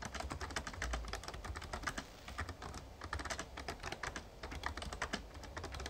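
Fingertips type steadily on the plastic keys of a full-size backlit Razer Ornata Chroma mechamembrane gaming keyboard. The rapid, uneven stream of short, crisp clicks has a soft low thud under each keypress and dies away almost instantly.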